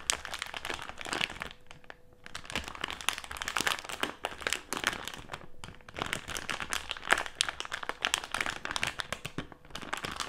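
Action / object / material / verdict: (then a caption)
scrape / filled plastic candy bag / plastic / none. A filled plastic jelly candy bag lies flat on a table while fingertips and nails crinkle it, press it and scratch across its surface. Dense, bright crinkling and crackling runs throughout in bursts with brief quieter pauses, thin on low end and rich in high, crisp detail.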